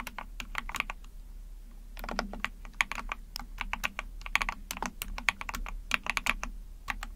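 Rapid key presses on a small 44-key Epomaker TH40 mechanical keyboard with an ABS plastic case, PC plate, and backlit pink and white keycaps, typed with long painted nails and fingertips. The sharp, bright plastic clicks and clacks come in quick, uneven bursts, each dying away almost instantly over a low, steady hum.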